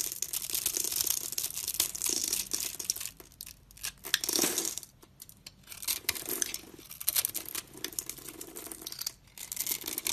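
A utility knife blade scores a grid into a solid, hand-sized rectangular tan bar of soap held in the hand, then scrapes off small cubes. The result is bright, dry, crackling scratches made of many quick ticks, coming in bursts with brief quiet pauses between strokes.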